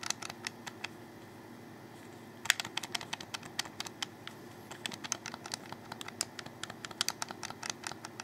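Fingers click and tap on a hollow black plastic Xbox 360 controller held close. A rapid series of sharp, dry, bright clicks with no ring stops briefly in the first seconds, then resumes with one louder snap and continues at an uneven pace to the end.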